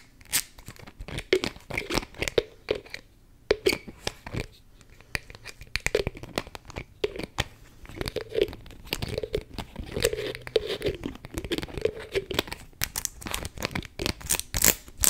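Long nails tap and work the cap on top of a beige plastic spray bottle held in one hand. Dense, fast plastic clicks, scratches and crinkly rasps run throughout, with a hollow tone near 460 Hz and bright, sharp ticks.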